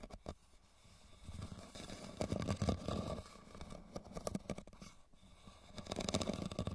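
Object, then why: Woven rattan basket. Fingernails scratch and tap a hollow red woven rattan basket resting tilted. Quiet, irregular scraping rustles mix with soft, quick taps that swell and fade, carrying a dull, low, hollow body with little high brightness.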